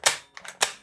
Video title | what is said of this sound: [Review] Delta Armory AR15 Serie (SilentOps Keymod CHARLIE, BRAVO, ALPHA) 6mm BB Airsoft/Softair -DE | questo suono metallico e tintinnante venga attenuato